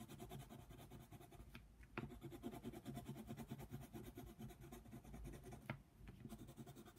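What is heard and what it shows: A yellow colored pencil scratches back and forth over a flat paper coloring book page, coloring in a giraffe. The strokes make a quiet, steady, rapid scratching with a soft low body, broken by a few sharp ticks.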